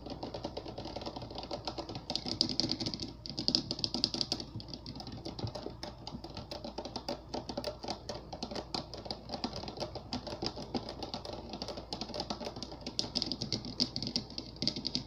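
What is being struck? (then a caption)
Water-filled glass globe with Orbeez. Fingertips and nails tap and drum quickly on the curved surface of a round, clear, head-sized globe, glass or possibly clear plastic, full of water and colourful Orbeez and sitting on a lit base. The result is a steady stream of crisp, short clicks with a bright high-pitched edge over a soft, muffled low thud, each tap dying away almost at once.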